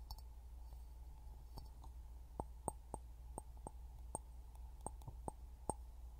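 An empty, hollow clear glass jar, held upside down over a pin microphone, is tapped with fingertips and nails, giving quiet, short clicks with a tonal ring near 860 Hz and bright glassy edges. The taps come in an irregular string over a steady low hum and die away almost instantly.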